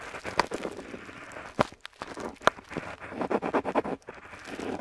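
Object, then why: Metal pen nib on paper sheet. A metal dip pen nib scratches across a flat paper map sheet while inking letters, close up. Soft, dry scratching and rustling are broken by sharp, bright ticks as the nib catches and lifts, with a quick cluster of short strokes near the end.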